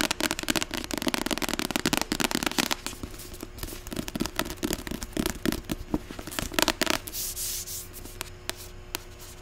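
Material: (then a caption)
Paper. Long acrylic nails rapidly tap and scratch the white cover of a closed, solid medium paperback novel, *41 Ways to Die*. Quick, crisp clicks mix with dry, bright rasping scrapes in a fast, dense rhythm. Near the end it settles into a softer, steady scratching hiss punctuated by a few sharp taps.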